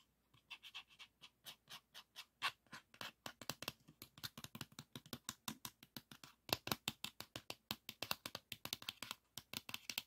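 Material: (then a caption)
Plastic. Fingertips and nails scratch and rub the paper label and plastic shutter area of a pink 3.5-inch plastic floppy disk held close. A quiet, steady series of short, bright scratching strokes repeats in quick rhythm, with little low end and almost no ring after each stroke.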